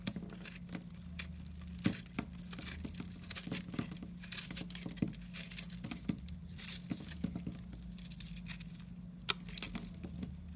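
A utility knife blade scrapes crumbly pieces off a solid yellow soap bar with an airy, porous inside, held in a hand with painted nails. Quiet dry crackling and crumbling scrapes repeat throughout with bright grainy texture, over a steady low hum with sharper clicks near 1.9 and 9.3 seconds.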